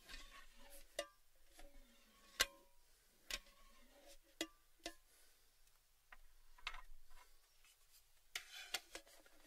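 A tall, hollow, orange cylindrical Baileys metal tin with its lid removed is held in the hand and tapped on its rim and sides with fingertips and nails. About nine quiet, separate taps sound, each a bright, dry click with a brief metallic ring around 1.6 kHz and fainter hollow tones near 500 Hz and 1 kHz. Softer rubbing and scratching fill the gaps between taps.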